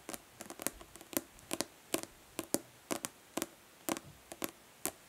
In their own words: Nail tapping on plastic body lotion bottle.